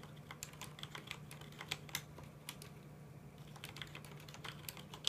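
Both hands tap with their fingertips on a full-size black plastic mechanical computer keyboard with red keycaps, producing a quick run of about twenty sharp, bright clicks. Each click dies away almost at once over a quiet, steady low hum.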